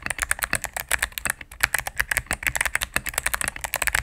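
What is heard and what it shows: Fingertips and medium-length nails type rapidly on a cream full-size mechanical keyboard with plastic keycaps on a solid plastic case. A fast, steady run of short, crisp clacks follows, each bright, centred near 1.7 kHz, and dying away almost instantly.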